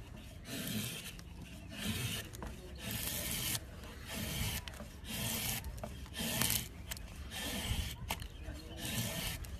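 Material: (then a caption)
Softwood. A long steel blade is drawn across the top of a solid rectangular block of light softwood held in a wooden clamp, scraping off thin curled shavings. Repeated passes make bright, rasping scrapes over a low rumble, with short pauses between strokes.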